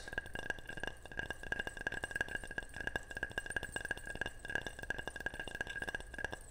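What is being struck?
Ceramic object.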